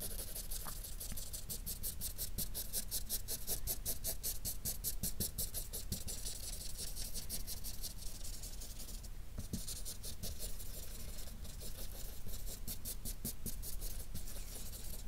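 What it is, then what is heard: Felt-tip marker scribbling on paper. A yellow-capped felt-tip marker rubs fast scribbling strokes over a colored area of a flat sheet of drawing paper. The rapid back-and-forth strokes make a steady, bright scratchy swish over a low, constant rumble. The sound stays even throughout with no pauses.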